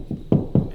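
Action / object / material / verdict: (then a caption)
knock / drywall wall / drywall / hollow. Four knocks on a drywall wall away from the stud, each a low, hollow thump centered near 200 Hz with a short ring. The first knock is softer than the three that follow, and the spot sounds hollow between the studs.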